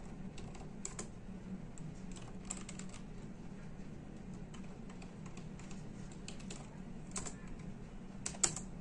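Fingertips of both hands type steadily on the hollow plastic keycaps of a full-size plastic computer keyboard. Quick, bright clicks come in irregular bursts over a steady low hum, with one louder keystroke near the end.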